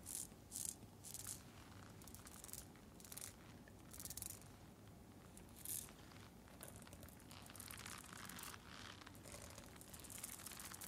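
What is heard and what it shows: Long nails scratch and tap a fabric face mask covered in small rhinestones, worn on the face, giving rattly clicks. Short bursts of bright, crackly clicking come in the first half, then turn into a steadier, denser scratching rattle, all fairly quiet over a low background hum.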